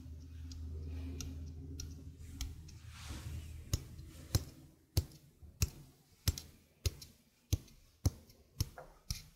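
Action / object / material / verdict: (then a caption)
tap / stainless steel sink strainer / stainless steel / none. A small, hollow stainless steel sink strainer is held in the hand while its rim is tapped and clicked with long nails. A low, steady hum and a few faint ticks give way to a run of crisp, sharp clicks at a loose, steady pace. Each click is bright and metallic, with almost no ring after it.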